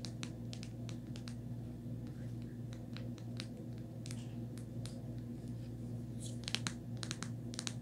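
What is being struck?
Rubber phone case, inside surface.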